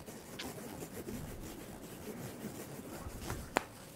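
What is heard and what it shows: Fingertips and nails pull and rub the black elastic straps of a top close up, making a steady, soft scratchy rustle of fabric friction. Near the end, a couple of brief, sharp snaps cut through the rubbing.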